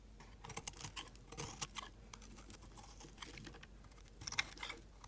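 A utility knife blade cuts chunks from and scrapes an orange-yellow amber solid soap bar. It makes a quiet run of short, crisp, bright clicks and crackles with brief scraping rasps. A sharper cluster of snaps comes near the end.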